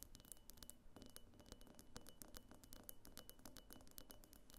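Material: Glass.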